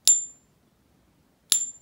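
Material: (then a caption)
Base metal. A counterfeit silver Buffalo bullion coin held in a Pocket Pinger is tapped twice, giving two short, bright metallic pings with a thin high tone that dies away within a fraction of a second. None of the key frequencies are heard, so the coin scores 0 of 5 and fails the ping test.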